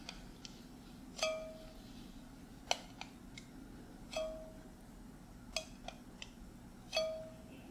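A filled small glass mason jar with a metal screw lid is held in one hand while the fingertips of the other hand tap the lid. The light, irregular taps give short clinks, and the stronger ones leave a brief ringing tone near 700 Hz with bright overtones. A soft steady hum sits underneath.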